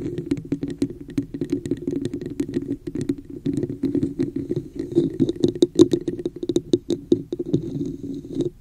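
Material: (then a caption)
Plastic. Long nails rapidly scratch and tap the top rim area of a hollow red plastic cup with a woven texture, turned upside down over a microphone. The result is a dense, uneven run of short clicky taps and scratchy rasps over a boxy, hollow resonance around 344 Hz, with faint bright tips on the sharper taps.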